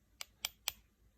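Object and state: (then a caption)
Acrylic nail bead set hard (fileable). The side of an acrylic nail product bead is tapped three times, giving three short, sharp, high-pitched clicks with almost no ring. The loud tap shows the acrylic has fully set and reached the fileable stage.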